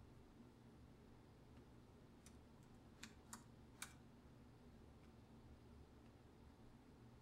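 Fingertips with short nails tap the hollow plastic key caps of a full-size black plastic computer keyboard resting on a counter, with both hands typing. Four sharp, bright clicks sound in quick succession mid-clip, each dying away almost at once. A steady, quiet low hum runs underneath throughout.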